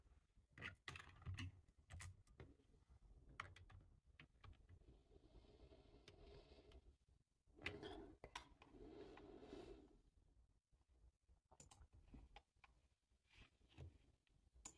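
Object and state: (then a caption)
Plastic computer keyboard being typed on. Fingertips type on the keys of a full-size dark plastic computer keyboard. Irregular bursts of clicky, plasticky keystrokes and soft low thuds come in uneven runs, with a few bright, sharp clacks and brief quiet pauses between them.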